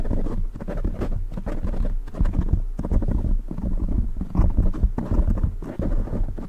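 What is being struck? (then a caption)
Foam microphone windscreen. Fingertips tap and scratch the sides of a black foam windscreen on a silver microphone. The result is a steady stream of soft, muffled, deep thumps and rustling scrapes. They are close and boomy, and they sit almost entirely in the low end.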